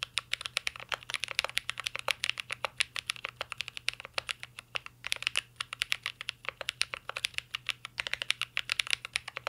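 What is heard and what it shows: A mint green Cyberboard R3 mechanical keyboard with a metal case and plastic keycaps is typed on continuously with the fingertips of both hands. A steady stream of short, bright, clicky keystrokes with almost no low end and no ring is heard, punctuated by brief pauses.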